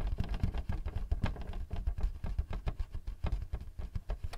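Fingertips tap rapidly on the face of a thin white plastic paper-support flap standing up on a Canon printer, held with both hands above the hollow printer body. The result is a quick, uneven patter of soft, dull, low thuds with almost no brightness, each tap dying away almost instantly.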